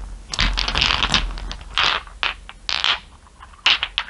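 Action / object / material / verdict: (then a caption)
scrape / small glass marbles under fingernails / glass / none. Long nails tap and rub across a bed of small solid glass marbles, making bright clicking, scraping and rattling bursts. The marbles clink against each other in quick clusters with brief pauses between them.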